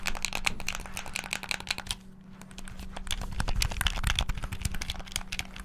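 Fingertips rapidly press and tap the face buttons and triggers of a black, hollow, plastic Xbox-style gamepad. Dense, bright plastic clicks and clacks rattle out in quick bursts, with a brief lull around the two-second mark, over a steady low hum. Each click is dry and short, stopping almost instantly with no ring.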